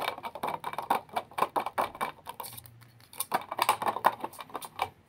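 A squat glass candle jar filled with solid yellow wax and topped with a metal lid is tapped with fingertips and nails on its glass sides and lid. About 29 rapid, dry clicking taps come in two bursts separated by a brief lull near the middle. Each tap carries a short, bright ring centered around 930 Hz that dies away almost instantly.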